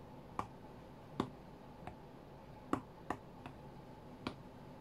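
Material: Glass.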